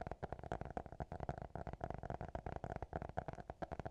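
Fingertips and nails tap and scratch the hard cover of a small, closed black notebook. The result is a rapid run of quiet, dry, hollow taps with a mid-pitched knock and a soft low thump, each dying out almost instantly.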